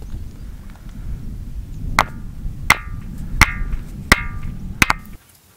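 The Ringing Stone on Tiree, a glacial erratic boulder said to have come from the Isle of Rum, is struck several times in a steady rhythm over low, constant background noise. Each strike gives a sharp, bright metallic clink with a brief ringing tone, showing that the stone really does ring.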